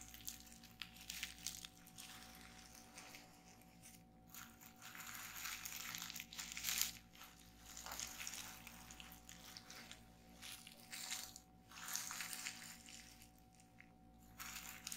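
Fingers with long nails press and crush the bubbles on a sheet of clear plastic bubble wrap lying on a table. The result is a quiet, bright stream of crinkling and crackling with small sharp pops, rising and falling in bursts over a faint steady low hum.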